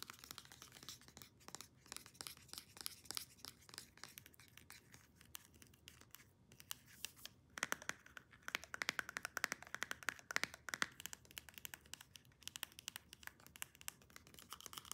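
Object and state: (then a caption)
Plastic hair serum bottle. Long nails tap and scratch a white plastic pump bottle of hair serum with a clear cap, making rapid, dense clicks and scrapes. The sound is bright and crisp, with fast, irregular bursts and very short decay.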